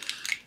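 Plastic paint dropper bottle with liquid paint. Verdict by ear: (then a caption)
No ball. A plastic dropper bottle of skeletal bone paint is shaken, giving four brief, bright, swishing bursts with no low end. There is no rattle because the bottle has no agitator ball bearing inside.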